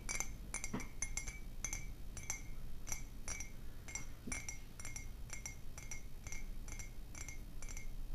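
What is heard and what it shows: A white printed ceramic coffee mug, hollow and apparently empty, is held in both hands and tapped with long painted nails. It gives a steady run of light, quick clinks with a bright ring near 2 kHz plus high overtones. Each clink dies away almost at once over a low, quiet background hum.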